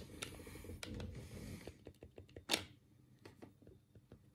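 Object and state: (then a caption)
Plastic game controller buttons. A black, hollow plastic Sega control pad is held in both hands while the thumbs click its D-pad and face buttons. Dense, rapid plastic clicking and rattling fill the first part, then it thins into scattered, quieter clicks with one sharp, bright click standing out near the middle. The clicks are dry and die away almost instantly.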